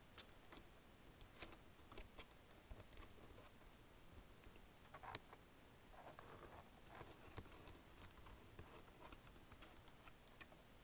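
Fingers type continuously on the keys of a black plastic wireless chiclet keyboard. Quiet, short, dry clicks and taps with bright edges sit over a low steady background rumble, with brief clusters of softer key patter in between.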